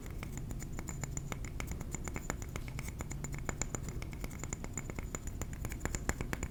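A ceramic trinket plate is tapped with the fingernails in a rapid, steady stream of light clicks. Each tap is short and dry, with a faint bright ring near 2 kHz and a higher glassy tone, over a constant low background hum.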